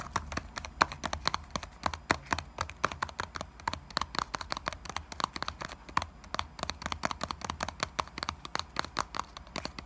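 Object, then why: Small cardboard box of bouillon cubes. Fingertips and nails tap and scratch rapidly on the top of a small printed Knorr cardboard box of bouillon cubes, likely full, resting on a counter. The result is a fast, steady stream of dozens of short, dry clicks with almost no ring. The clicks center around 1 kHz, with a faint scratchy rustle and low rumble underneath.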